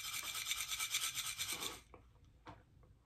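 A wooden container holding salt is shaken close up, giving a bright, hissing, shaker-like rattle in steady pulses for just under two seconds. The rattle then stops, leaving near silence broken by a few faint taps and one soft knock.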